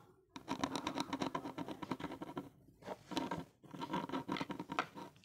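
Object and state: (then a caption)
Plastic earphone inline mic housing scratched. A gloved hand rapidly and repeatedly scratches the small, hollow black plastic inline mic of a Nokia earphone cable with the blue tip of a pen-like tool. The result is dense, fast, raspy scratching in three bursts separated by brief pauses, with a hollow plastic resonance around 277 Hz.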